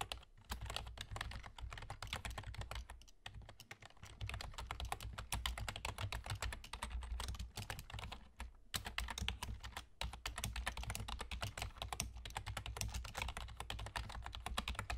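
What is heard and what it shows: Fingertips with short nails from both hands rapidly tap the hollow keys of a full-size black plastic computer keyboard with German key labels. The result is a dense, continuous stream of short, dry clicks with almost no ring, briefly pausing around the third and eighth seconds. A steady low hum runs underneath throughout.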